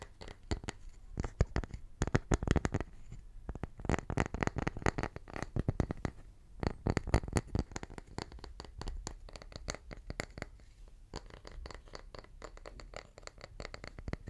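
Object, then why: Round wooden tree slice with bark edge. A small round slice of solid wood with its bark edge still on is tapped rapidly with fingertips on its flat face and along its edge. The taps are soft, dull knocks, heavy in the low end with almost no ring, coming in quick, uneven bursts with brief pauses across the clip.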